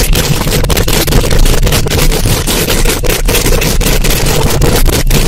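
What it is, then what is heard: Metal mesh microphone grille being scratched. Long acrylic nail tips scratch and tap quickly on a hollow metal mesh microphone grille. The result is a loud, dense, continuous scraping rumble, heavy in the low end, with bright crackly texture and brief dips between strokes throughout.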